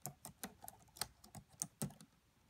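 Long fingernails tap quickly on the black plastic keys of a red laptop keyboard. About nine quiet, sharp clicks are heard, each with a bright tick and a soft low thud. The taps stop almost at once.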